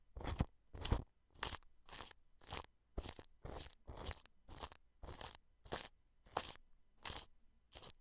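A wide bristle paintbrush brushes and rubs clear plastic cling film stretched over a white dome microphone and its metal mesh grille. It makes 14 short, crackly crinkling strokes at a steady, unhurried pace. Each stroke carries a low rumble and a bright, papery rustle, with near-silence between them.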